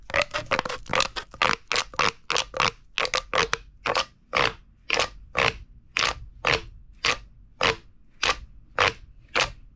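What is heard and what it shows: A large, hollow, empty purple corrugated plastic pop tube toy is held in the hand and squeezed and crunched with the fingertips over a wooden table. It makes bright, crackling scrapes and crunches, at first in quick clusters and then as separate, evenly spaced bursts that stop sharply with little ring.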